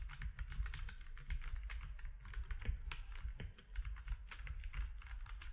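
Fingertips of both hands type on a compact mechanical keyboard with grey, white and orange plastic keycaps. Quick, crisp clicks and clacks follow one another in a steady, busy rhythm, each dying away almost instantly over a constant low hum.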